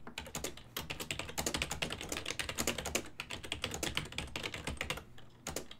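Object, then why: Plastic computer keyboard. Both hands type continuously with their fingertips on a full-size black and silver ergonomic desktop keyboard made of plastic, with keys over a hollow body. A rapid, steady stream of short, bright, clacky keystrokes fills the clip, each dying away almost at once, with a few brief pauses between bursts.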